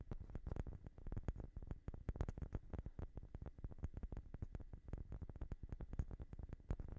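A light-colored, palm-sized solid wooden block is held in one hand and tapped quickly with the fingertips and short nails of the other hand. The result is a dense, irregular stream of soft, dry taps with a deep, thuddy body and almost no ring, each tap cut off instantly, with faint bright clicks from the nails.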